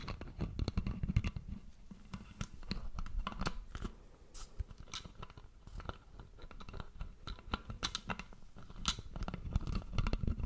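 Fingertips and nails tap and scratch the plastic screw cap and upper body of a red Prime-branded plastic drink bottle, hollow and apparently full, right next to the microphone. A steady run of quick, dry clicks and crackling scratches sits over a soft, heavy low thump, with bright ticks flicking through.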